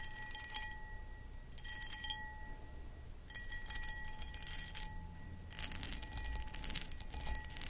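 Long acrylic nails scratch and tap the sides of a medium-sized, empty, hollow clear cut glass pedestal bowl with a textured footed design. Bursts of bright, gritty scratching and clicky taps come in clusters, while the glass sustains faint ringing tones like a soft chime. A low, quiet rumble sits underneath throughout.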